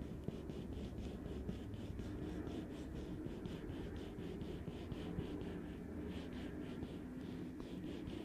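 A hand in a black leather or nitrile glove rests on the hollow, medium-size metal mesh grille on top of a black Blue Yeti USB microphone and scratches and rubs it with the fingertips. The result is a steady, dense, low rumbling scrape with a rhythmic series of soft, bright swishes running throughout.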